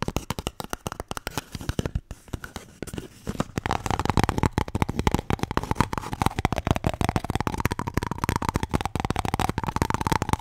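A paper toilet roll is tapped and scratched in rapid, dense succession, making fine, dry clicking and rustling with very short, dull decay. The first few seconds are quieter and sparser, then the tapping grows louder and steadier, with a faint hollow tone near 700 Hz that wavers slightly.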